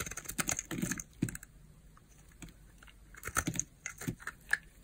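A small, solid pink bar of hard soap, held in the palm, is carved with a utility knife blade that shaves off slices. Crisp, short scraping cuts come in quick bursts with bright, dry crackle and low thuds. A quiet pause in the middle separates the first cluster from a second run of shaving cuts.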